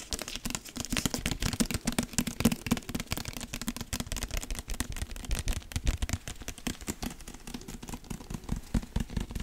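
A large dark hardcover book with a paper-wrapped cardboard cover and gold lettering, solid with pages, is held up close while fingertips and nails tap and scratch the cover. Dense, rapid dry taps and scratchy rustles run throughout, with a low thumpy body around 230 Hz and a faint bright edge.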